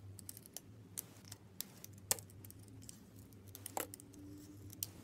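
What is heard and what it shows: A small solid red bar of soap with an embossed logo and white inside is held in a hand with long red nails and scraped and carved with a utility knife blade, peeling off shavings. Quiet, irregular crisp scraping clicks and bright, sharp ticks sound over a low steady hum, with a few louder snaps standing out.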